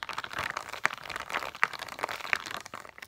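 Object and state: Plastic dome stickers, tapped and scratched.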